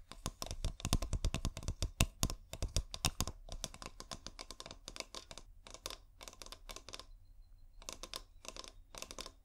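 Long painted nails tap and scratch a clear glass bottle with fairy lights inside, making rapid bursts of sharp clicky taps. The sound comes in dense clusters that are loudest in the first few seconds, then turns into lighter, sparser scratching and tapping with brief pauses between runs.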